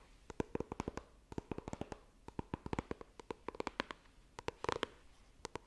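Long nails tap and scratch the lid of a small, hollow white iPhone retail box of coated cardboard, held horizontally. A quick, irregular run of about 33 dry, clicky taps in uneven clusters gives sharp bright transients with a hollow mid tone around 460 Hz, each dying almost instantly against a faint scratchy hiss.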